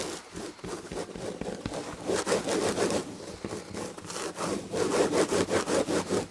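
Long red nails scratch the textured tapestry upholstery on the back of a fabric-upholstered chair, making quick, rhythmic raspy strokes with a bright, papery texture. The scratching briefly eases to a quieter stretch in the middle, then resumes in louder, steady back-and-forth strokes.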